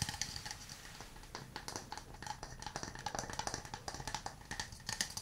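A hand-sized hollow wooden cup, held in both hands, is tapped on its sides and base with fingernails and fingertips. About thirty quick, dry taps clatter in an irregular rhythm, each a short hollow knock with a woody tone near 1.8 kHz and bright clicky edges that die away almost instantly.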